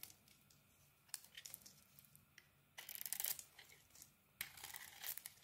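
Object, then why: Soap bar scraped with a knife blade. A utility knife blade carves a solid turquoise and orange bar of soap, shaving off pieces that fall away. Quiet, bright, crisp scraping and crinkling strokes come in short flicks early on, then two longer, louder scrapes in the second half.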